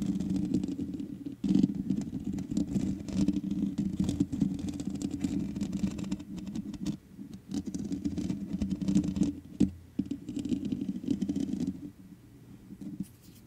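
Long nails scratch across the black metal mesh grille of a large USB condenser microphone with a hollow head. The result is a dense, rasping patter with a strong low, boomy resonance, broken by brief pauses and sharper bursts, then fading to quieter scraping near the end.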